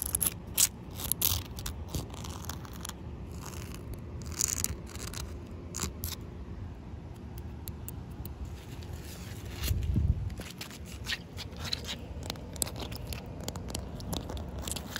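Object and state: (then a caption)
Wet concrete slab. Short white nails scratch and tap on a rough, solid outdoor concrete pavement that is partly wet with puddles. Crisp, bright taps and gritty scraping sit over a steady low rumble, with a louder, deeper thump around the ten-second mark.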